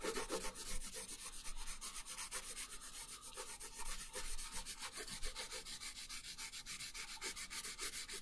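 A pink colored pencil shades a thin paper coloring page resting on a wooden table, making quick back-and-forth rubbing strokes. The result is a steady, dry, bright scratching hiss with a rapid rhythmic pulse and a soft low rumble underneath.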